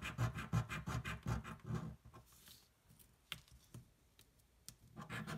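A coin rubs the scratch-off panels on a thin paper lottery card lying flat on a table. Quick, rhythmic, gritty scraping strokes fill the first two seconds, followed by a quiet stretch with a few faint ticks and light rubs. Brisk scratching then resumes at the end.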